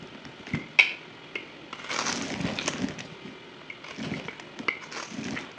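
A utility knife shaves and cuts crumbly chunks from a solid white bar of soap held in the hand, played at double speed. Bright, crisp crunching and scraping come in bursts with sharp, quickly fading cracks and little low end.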